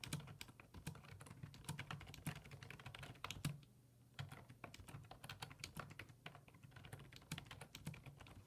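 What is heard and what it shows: Fingertips type on the hollow plastic keys of a black plastic full-size computer keyboard resting on a wooden desk. The repeated taps come as a fast, steady stream of short clicks with a low hum underneath. The typing pauses for about half a second near the middle before resuming.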